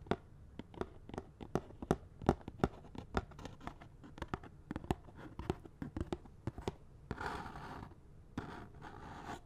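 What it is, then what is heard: Cardboard glove box, tapped and scratched. Fingernails tap and scratch on a small, hollow cardboard box of latex gloves with the gloves still inside. A rapid series of short, dry taps comes first, then longer rasping scratches on the cardboard near the end.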